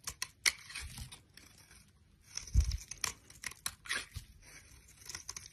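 A solid oval bar of green soap held in the hand is shaved with a utility knife blade, sending strips and crumbs coming off. Crisp, dry scraping and tearing cuts come in irregular bursts with bright, airy detail, and one dull low thump lands near the middle.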